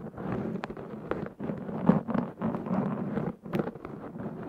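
Fingernails of both hands scratch a black foam windscreen fitted on a Zoom H6 recorder, producing dense, close-up scratchy rustling. The sound comes in long bursts separated by brief pauses, with a muffled, low-mid body and no bright top.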